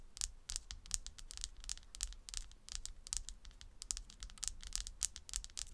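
Long red almond-shaped nails scratch and tap a round slice of solid tree trunk with its bark edge, resting on a table. A quick, uneven string of short, dry, bright scratches and clicks sounds over a faint low hum, each one dying away almost at once.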